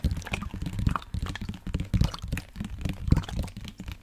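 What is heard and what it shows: A black plastic sports water bottle holding liquid is held sideways in both hands and tapped with fingertips and nails. Irregular, dull, low-pitched taps and knocks mix with the slosh and gurgle of liquid moving inside the hollow bottle.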